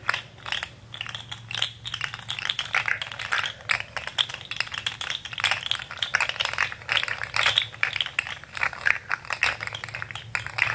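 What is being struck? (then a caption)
Articulated plastic fidget slug toy. Fingers bend a rainbow articulated plastic fidget slug toy with an orange head and wiggle its segments. The result is a dense, continuous stream of short, dry rattling clicks centered around 2.3 kHz with bright upper content, over a faint steady low hum.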